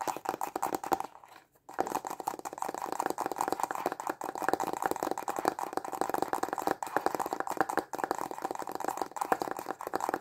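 Short fingernails and fingertips tap fast on a small, hollow, white printed cardboard stylus pen box held in both hands. The result is a dense stream of dry, hollow, clicky taps centered in the midrange with almost no low end, broken only by a brief pause just after the first second.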